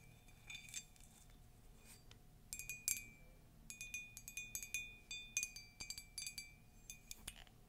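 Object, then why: Glazed ceramic mug. Long nails tap and scratch a hollow, empty, cream glossy ceramic mug with a Disney castle print. The result is a quiet run of bright, short clinks ringing around 2.3 kHz, coming in scattered bursts with soft scratchy textures in between.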